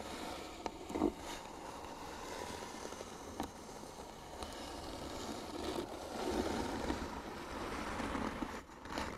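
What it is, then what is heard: Wooden box being scratched. Fingernails scratch across the flat lid of a closed, hollow white wooden box. A steady, mid-toned scraping rasp runs throughout, with a few sharper ticks and a slight swell in loudness toward the end.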